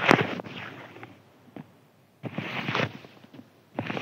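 A thin white crinkly paper sheet lying flat is scratched with fingertips. Bursts of dry, crackling rustle come and go, with quiet gaps between them. A louder patch of crinkling opens the clip, and a final burst closes it.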